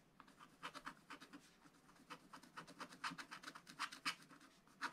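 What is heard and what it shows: A wooden stylus scratches the top right window area of a black-coated scratch-art paper page with repeated short strokes. The result is a quiet series of dry, raspy scratching bursts with a bright, hissy edge, coming in an uneven rhythm.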